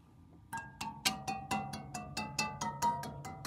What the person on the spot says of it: ASMR sounds from a rubber tipped drumstick softly tapping on heater coils producing a soft gentle musical sound